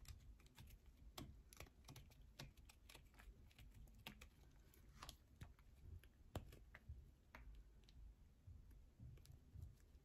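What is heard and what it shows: Long nails scratch inside a dug hole and along the edge of a solid yellow bar of soap held in the hands. The result is a quiet, rapid run of sharp, dry clicks and scrapes with bright transients, sounding much like fast typing over a soft low rumble.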